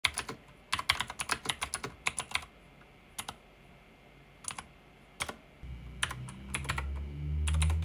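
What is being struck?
Plastic mechanical keyboard.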